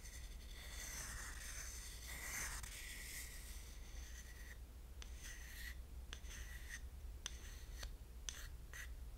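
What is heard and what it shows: A thin wooden stick scrapes and rubs inside an empty, small, shallow carved wooden dish shaped like a pineapple. Continuous dry rasping scratches with bright high overtones fill the first half over a low, steady hum. Then come shorter separate scrapes and sharp ticks.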